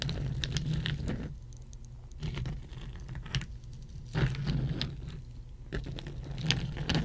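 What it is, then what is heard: Ice cubes tapped with nails. A row of solid ice cubes resting on a red mat is tapped rapidly with the long nails of both hands. The result is bursts of light, fast clicky patter separated by quieter pauses, over a steady low hum.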